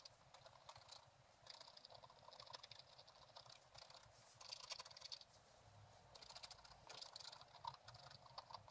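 A thin wooden stylus scratches across a flat page of black-coated scratch-art paper with a gold underlayer, bound in a book. The sound is a quiet, dry, bright scraping made of quick short strokes. It comes in denser, louder bursts with brief lighter passes between them.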